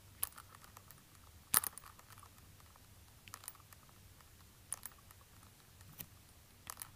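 Fingertips in orange rubber gloves tap and scratch the suede heel counter of a hollow black suede ankle bootie with a stiletto heel, held in the hands. Quiet, sparse, bright clicking taps and brief scratches stand out over a faint low steady hum, each sound dying away almost instantly.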